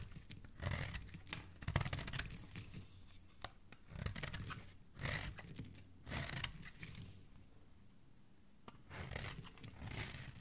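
A metal blade shaves the edge of a solid, hand-sized white bar of soap held in fingers with dark nails. A series of crisp, crunchy scraping strokes comes in short bursts, each with a low, dense body and a bright shaving hiss, separated by quiet gaps.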